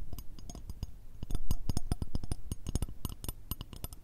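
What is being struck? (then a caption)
Thin metal shoehorn. A long, curved, mirror-finish metal shoehorn, a thin solid strip held horizontally, is tapped with long red acrylic nails. Quick, irregular taps give sharp bright clicks with short metallic pings, each over a soft low thud.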